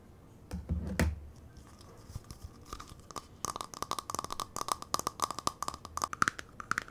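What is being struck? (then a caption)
Small thin plastic bowl. A small, hollow, empty translucent purple plastic bowl is held up while fingernails scratch and tap its outside and base. A low, rough scratching comes first, then a quick run of sharp, crisp taps, each giving a brief hollow plastic ping around 1.3 kHz that dies away almost at once.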